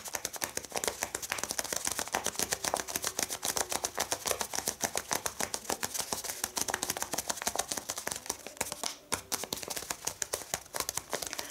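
Long red-painted nails tap and scratch across a small flat packet of folded brown kraft paper lying on a cloth-covered table, both hands resting on it. Dense, irregular, crisp papery clicks and scratches come fast, with very little low end and a bright, dry texture that stops instantly after each tap.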